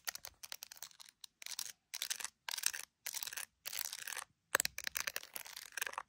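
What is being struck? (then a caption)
Smartphone in clear plastic case with glass camera lenses. Long acrylic nails tap and scratch the glass camera lenses and edge of an iPhone in a clear plastic case filled with resin gummy bears. The sound is a quiet run of bright, crisp clicks, with short bursts of dense scratching between pauses.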